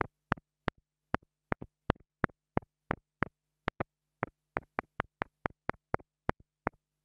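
A small black plastic mini lavalier microphone capsule, held between long-nailed fingers, is tapped repeatedly with the tip of a thin wooden stick. It gives 22 sharp, dry clicks at an uneven pace, each stopping almost instantly, some with a softer second tick. A faint low hum runs steadily underneath.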